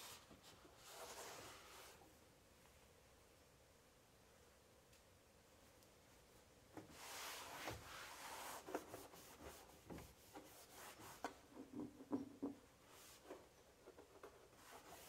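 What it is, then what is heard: Empty melamine kitchen drawer, hollow. A cloth held in the fingers rubs and wipes the inside of an empty, large, hollow white melamine-coated particleboard kitchen drawer that has been pulled open. A soft swish is followed by a quiet pause, then louder sweeping wipes. Quick, uneven scuffs and faint squeaks close the clip, with a low tonal squeak near the end.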